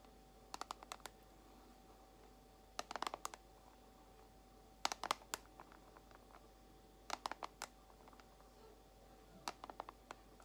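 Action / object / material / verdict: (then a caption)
tap / small plastic compartment box / plastic / none. Long acrylic nails tap quickly on a small clear plastic compartment box holding white false nail tips. The sound is sharp, bright plastic clicks in five short bursts of several taps each, separated by quiet pauses. A faint steady hum runs underneath throughout.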